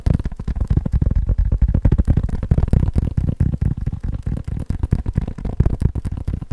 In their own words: 16:33 fake leather phone case